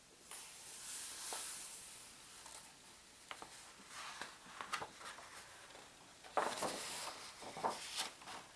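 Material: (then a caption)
Paper. A large hardcover World Book Atlas lies open while a bare palm and fingertips rub and smooth its thin, glossy paper page, then a page is turned by hand. Soft, bright, hissy rubbing is broken by sharp crinkles and snaps of paper, with the loudest, fullest rustle as the page turns.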